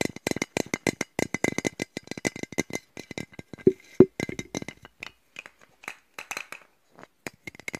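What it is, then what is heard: Metal aerosol spray can. A hand-sized metal aerosol spray can with a Colorama label and black back, closed and partly full, is held close to the microphone and tapped and shaken with fingertips and nails. Dense, rapid clicky taps and rattling come at an irregular pace, with two louder ringing knocks near the 4-second mark. The sound then thins into sparser, scattered taps.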